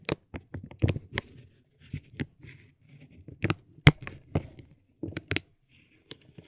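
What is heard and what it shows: A metal ball-tipped stick taps a soft, clear vinyl plastic bag wrapped around a roll of tape, close up. Short, dry taps mix with soft crinkling of the film in uneven bursts, with quiet gaps between them. Each tap ends almost at once.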